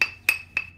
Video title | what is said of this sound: Crystalline Pottery - How to separate, grind, and finish by Adam MacMillan Surfside Ceramics | you can hear that tone start to change, and that tone means there's a crack that's spreading